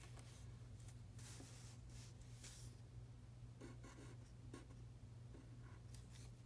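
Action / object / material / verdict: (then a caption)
scrape / pen tip on a thin paper sheet / paper / none. A pen tip, guided by fingertips, scratches across a thin printed paper practice sheet lying flat on a dark table while writing Chinese characters. Soft, bright scratchy strokes come in short, irregular bursts over a steady low hum. The overall level stays quiet and even throughout.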